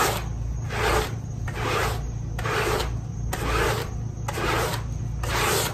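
A handheld stiff-bristle scrub brush is rubbed in fast strokes across a small, wet, pink fabric pile rug. Each stroke makes a bright, wet swishing rasp that rises and fades in a steady back-and-forth rhythm. A constant low hum runs underneath throughout.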